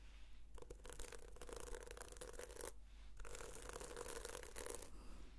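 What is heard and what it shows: Long nails scratch across the sequins of a red sequin-covered notebook in two passes, producing a dense, bright rasping scratch with a faint tonal ring around 470 Hz. A quiet pause falls between the passes, and a steady low hum sits underneath throughout.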